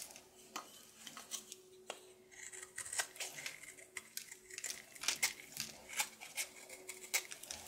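A red-coated solid soap bar held in the hand is shaved and scraped with a red patterned knife, producing a series of crisp, bright scraping and cutting strokes. The short, dry strokes come at an uneven pace with a soft rasping texture between them, over a faint steady low hum.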